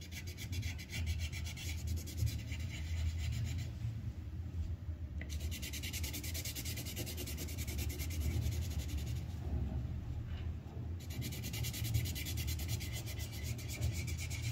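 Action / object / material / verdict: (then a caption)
scrape / paper sheet on a clipboard rubbed with a wooden colored pencil / paper / none. The tip of a yellow wooden colored pencil rubs back and forth on a thin white paper sheet on a clipboard, filling in a lower petal of a flower. Steady, dense scratchy strokes carry a bright papery rasp over a low, muffled rumble. The bright rasp briefly fades around 4 to 5 seconds and again around 9.5 to 11 seconds before the coloring resumes at full brightness.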